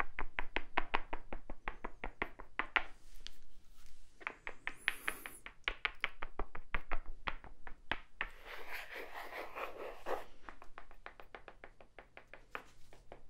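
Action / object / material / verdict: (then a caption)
tap / small wooden block / wood / none. A small, solid, light wooden cube held in the hands is tapped with fingertips and nails, giving quick, dry, knock-like clicks in a brisk, uneven rhythm. The clicks stop short with almost no ring. Brief stretches of brighter, hissier noise break in between the runs of taps.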